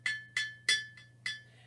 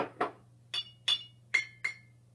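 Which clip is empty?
The second.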